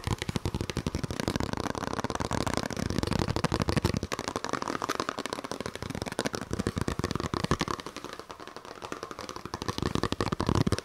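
A small, empty white paper envelope or card is held in both hands close to the microphone while fingers fold, flick and crinkle it. The result is a rapid, dense stream of dry crackles and short tapping clicks with almost no ring, continuing steadily for about eleven seconds.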